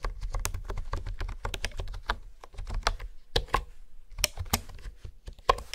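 Fingertips and nails type and tap on a hollow pink plastic honeycomb keyboard with hexagonal keys. The result is a rapid run of short, clicky plastic taps with a low hollow thud beneath, bright sharp clicks on top, and each keystroke dying away almost instantly.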